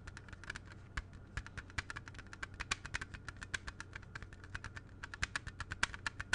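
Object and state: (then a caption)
Plastic CD jewel case. A closed, hollow plastic CD jewel case with a red cover is held in both hands and tapped rapidly with fingertips and nails. Around forty short, dry clicks with a hollow plastic tone near 1.6 kHz and bright upper edges come in an uneven, typing-like patter. A steady low hum sits underneath throughout.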